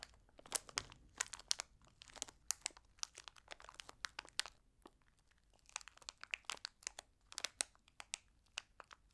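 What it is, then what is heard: Plastic candy pouch crinkled. A small printed Trolli gummy candy pouch made of flexible plastic and holding gummies is held and crinkled between long red-nailed fingertips. It gives a quiet, rapid run of sharp, bright crackles and crunches with almost no low end. The crinkling briefly thins out near the middle, then picks back up.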